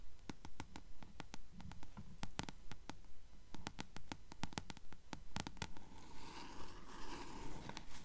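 Long fingernails tap and scratch along the yellowed page-block edge of a closed blue paperback book held upright. Quick, sharp, dry clicks come in a fairly steady rhythm over a low rumbling background, then give way to a softer, raspy scratching near the end.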